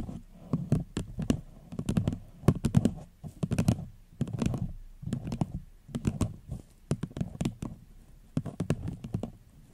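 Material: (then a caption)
Paper. Long fingernails tap a small, hollow, empty floral paper cup turned upside down. Quick bursts of light, clicky taps land in uneven clusters, each with a soft, low hollow thump under a sharp bright tick. Every tap dies away almost at once.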